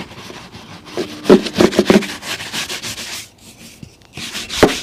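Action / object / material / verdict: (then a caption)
scrape / leather boot brushed with a bristle shoe brush / leather / none. A brown leather lace-up boot, worn on a foot resting on a blue plastic stool and steadied by the other hand, is brushed briskly back and forth with a wooden-backed bristle shoe brush. The strokes make a steady run of dry, bright swishing rubs, with a few louder scrubbing strokes near the start and another strong one at the end. A short quieter pause falls in the middle.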